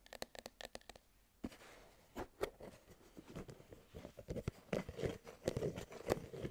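Fingernails tap quickly on the metal base and plastic lid of a hollow, medium cylindrical food tin with a paper label, held up close, then scratch and scrape across the paper label. Crisp, dry clicks come first, followed by a soft papery rustle and a denser run of scratchy taps with a hollow ring around 520 Hz.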